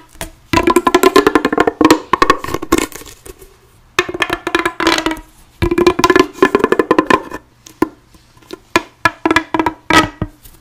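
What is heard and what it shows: A bright pink, hollow, corrugated plastic pop tube is scratched and flicked along its ribbed surface by long blue-painted nails while being bent and stretched. The result is rapid bursts of dry, clicky ticks with a hollow tone, separated by brief pauses.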